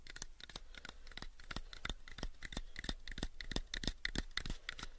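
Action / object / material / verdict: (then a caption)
tap / small wooden box / wood / none. Fingertips and nails tap and scratch the faces of a small, pale wooden cube box held in the hand. Quick, irregular dry taps come at roughly three per second, with brief bright scratching between them. A steady low hum runs underneath.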